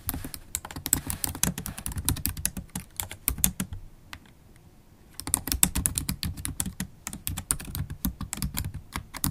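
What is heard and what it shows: Long acrylic nails and fingertips type fast and continuously on a MacBook Pro keyboard with black plastic keys in an aluminium body, making dense, bright, sharp clicks over a low thudding base. The typing stops briefly for about a second near the middle, then resumes at the same quick pace.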